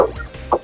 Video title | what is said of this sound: Room Tour Pico Bay Sands Hotel 2025 #roomtour #hotel | bakit pag kinatok mo, hollow siya na ganun?